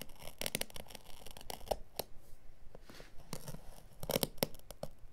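A craft blade draws through a piece of synthetic-pile carpet offcut held by the fingers, cutting and scratching along the edge of its dark pile side. The result is a quiet run of dry, crisp scratching and tearing strokes, each short and bright with no ring after it.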